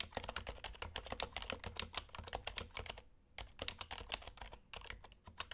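Plastic keycaps on an HHKB Hybrid Type-S Topre keyboard are typed continuously with fingertips, producing a rapid stream of short, muted, bright clicks over a low steady hum. The keystrokes pause briefly around the three-second mark before resuming at the same steady pace.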